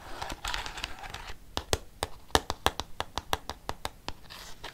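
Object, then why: Plastic desk calculator. A black plastic desk calculator is held close to the microphone while fingernails scratch its keys and casing, making a rough, dry rasp. That gives way to a run of sharp, bright plastic taps with almost no ring. Soft scratching returns at the end.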